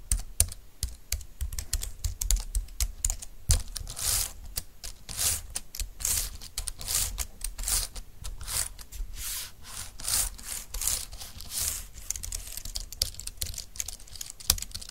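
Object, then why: Plastic low-profile keyboard. Fingertips and long nails type on a compact, dark green, low-profile plastic keyboard with flat keys, resting on a desk mat. A steady stream of quick, dry clacks with bright, clicky tops and a low, hollow thump from the plastic body. Each tap dies away almost instantly.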